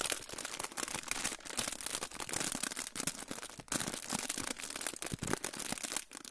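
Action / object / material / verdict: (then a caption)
scrape / aluminium foil pouch / aluminium foil / none. A crinkled silver aluminium foil pouch is held in front of the microphone and crinkled and rubbed with fingertips. The result is a dense run of bright, crackling rustles, with many short sharp snaps blending into continuous high crinkling and little low end.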